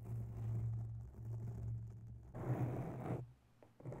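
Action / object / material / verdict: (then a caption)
scrape / foam microphone windscreen / foam / none. Long natural nails scratch across a grey foam microphone cover, making a muffled, low rustling scrape over a steady low hum. A louder, fuller burst of scratching comes near the middle, drops to near silence, and then resumes softly at the end.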